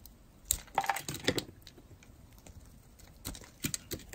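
A metal blade carves thin slices from the face of a hand-sized, solid, dry blue-and-white striped bar soap. It makes short, crisp scraping crackles in irregular bursts, with quiet gaps between them. A faint, steady high tone runs underneath throughout.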